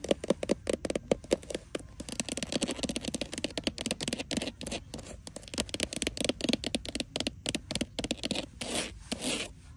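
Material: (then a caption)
Leather. A long green nail scratches and taps on a small, flat black pebbled leather wallet lying on a glass counter. Quick, dry taps and crackly scratches follow one another rapidly, each click dying away almost instantly. Near the end, a longer, steadier scraping stroke runs along the leather.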